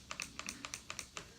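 A plastic part of a Bop It Extreme 2 electronic toy is worked, giving a quick run of about nine light, bright plastic clicks with no snapping sound. This is the toy's normal sound.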